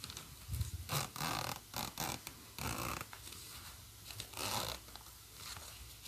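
Fingertips pull the metal slider of a black plastic coil zipper open and closed on a hollow green nylon bag. Repeated quick zipping strokes give bright, raspy bursts with a low thump underneath, separated by short quiet gaps.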